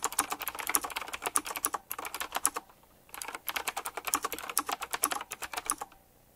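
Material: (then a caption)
Plastic. Fingertips type rapidly on a retro typewriter-style mechanical keyboard with round plastic keycaps set in chrome rings. Dense, bright, sharp key clicks run in quick bursts with almost no low end. A brief pause falls about halfway through before the fast typing resumes and trails off near the end.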